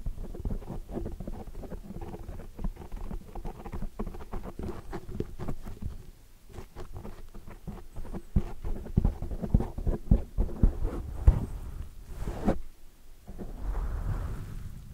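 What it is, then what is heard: Foam microphone windscreen. Long dark nails and fingertips quickly tap and scratch a large black foam windscreen on a microphone while the hands cup it. This produces a dense, muffled, low-heavy patter of soft thumps and scratchy rustles, with brief quieter dips and a few sharper taps toward the end.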